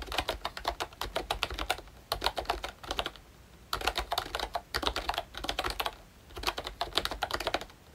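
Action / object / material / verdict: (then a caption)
tap / plastic membrane keyboard / plastic / none. Fingertips type on the round keycaps of a pink plastic ROYCHE Disney Mickey Mouse retro membrane keyboard with a hollow body. Rapid, bright, clacky key clicks come in bursts separated by brief pauses, each click short and dry with little ring.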